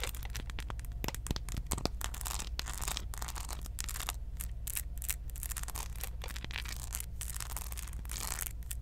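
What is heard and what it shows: Long acrylic nails scratch and tap the textured, beaded dreadlock head of a small hollow molded plastic Predator figurine held close to the mic; its attached paper hang tag is not handled. Dense, irregular bright scratching and crackly clicks run throughout over a steady low hum.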